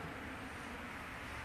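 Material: Nothing is struck.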